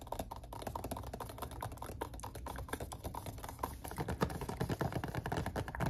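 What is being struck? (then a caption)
Small cardboard box. A small rectangular red printed cardboard perfume box, possibly hollow or holding a bottle, is held upright and tapped on its faces with fingertips and nails. The taps come fast and dense as short, dry clicks and dull thuds that die out almost instantly, over a steady low hum. They grow slightly louder and more clustered toward the end.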